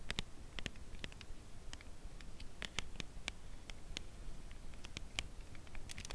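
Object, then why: Thin cardboard chocolate bar sleeve. Long press-on nails gently tap a Lindt Caramel chocolate bar in its thin closed cardboard sleeve, held on edge in both hands, which shift their grip slightly. Short, dry, bright clicks land at an uneven slow pace over a low, soft rumble, each dying away almost at once.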